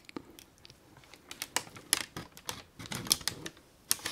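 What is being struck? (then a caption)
Kraft paper gift bag. A printed brown kraft paper gift bag, thin and hollow, is held and crumpled in both hands with the fingertips. It gives a crinkling sound of quick, bright, dry snaps and rustles with very little low end, the bursts clustering around the middle and end of the clip.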